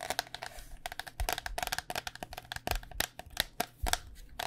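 Long dark nails tap rapidly on the outer shell of a white cycling helmet, a hollow hard plastic shell over foam held in the hands. The taps are quick, dry and bright with almost no ring, some carrying a soft low hollow thump from the shell.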